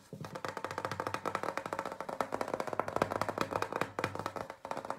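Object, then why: Paper gift bag. Fingertips and nails rapidly tap and scratch the flat side of a large, hollow printed paper gift bag with a floral design. The result is a dense, steady run of light, crisp taps with a hollow, mid-pitched knock, each dying away almost at once, with a brief pause near the end.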